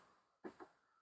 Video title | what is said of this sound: L'or des ruchers de Yann & Olivier N°1 hibernage | celui-là il sonne creux, forcément c'est la partition. Et juste à côté, ça sonne un petit peu plus sourd.